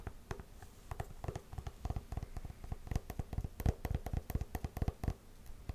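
Long nails scratch and tap along the suede upper and the stacked wooden-look heel of a hollow, empty tan faux-suede lace-up combat boot with buckle straps and a side zipper. The sound is a rapid, irregular run of short, dry, muffled taps with low thumpy weight and brief scratchy brushing between them, each hit dying away almost instantly.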